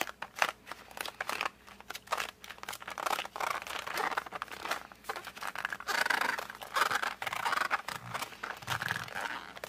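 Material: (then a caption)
Cardboard. A flat cardboard colored pencil box is held in both hands, gripped and squeezed with the fingers and thumbs, and rotated. This produces a steady run of dry crinkling, creaking and scratchy crunches, with brief squeaky tones rising near the end, all quiet and close with almost no low end.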